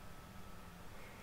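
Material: Nothing is struck.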